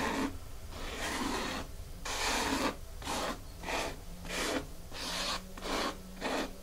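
Long fingernails scratch and rub across a flat, solid, dark grey porous foam mat. Irregular rasping strokes come in bursts of bright, broadband hiss with soft dips between them.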